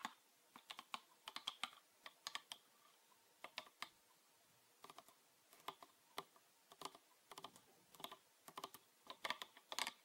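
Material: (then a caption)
Plastic. Fingernails tap on a green PET plastic bottle with a red cap, full of liquid, in quick irregular bursts with short pauses between. Each tap is a dry, bright click that dies away almost instantly, with no low-end body, so the pattern sounds like fast typing.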